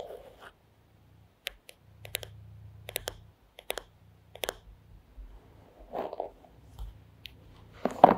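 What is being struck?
Wooden paddle hairbrush back.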